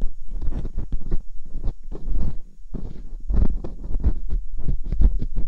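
Metal dental picks scratch inside the ear canals of silicone binaural microphone ears. The result is close, muffled scraping and rubbing in rapid, uneven bursts with short pauses. The sound is dominated by low, thumpy rumble.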